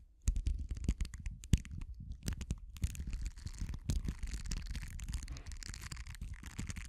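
The metal prongs of a pink-handled tool scratch and drag through the bristles of a small purple silicone facial cleansing pad held in the hand. The result is a close, continuous stream of crackly, scratchy rasping over a deep, thumpy rumble, with a few sharper ticks standing out.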